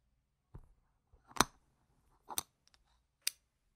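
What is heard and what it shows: Fingers riffle a stack of small, solid, round plastic game gem tokens held in the hand, clicking them together. Irregular, short, sharp, bright clicks and clacks with very little ring are separated by quiet pauses.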